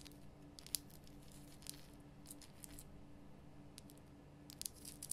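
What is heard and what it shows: Long nails scratch and tap the rough surface of a large, glowing pink Himalayan rock salt lamp, a solid salt block. Quiet, bright, crisp scratches and sharp little taps come in scattered bursts over a steady low hum.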